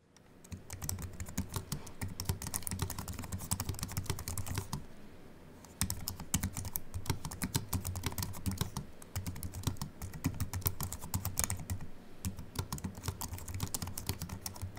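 Fast typing with the fingertips of both hands, nails short, on a compact Apple keyboard with a silver aluminium body and white plastic keys resting on a wooden desk. A dense stream of short, bright clicks sits over soft low thuds, with a brief pause near the middle before the rapid key presses resume.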